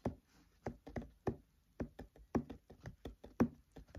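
Fingertips tap on the paper pages of an open paperback book in a loose, rhythmic series of about fifteen soft, dull taps. Each tap is papery and muffled with almost no ring, and the taps fall in an uneven rhythm.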